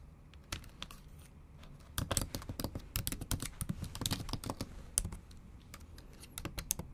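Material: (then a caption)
Plastic. Long acrylic nails type rapidly in Japanese on a bare MacBook Pro backlit keyboard with plastic keys, producing sharp, bright clicks over soft low thumps. The taps start sparse, then come in a dense, quick run from about two seconds on, each click dying away almost instantly.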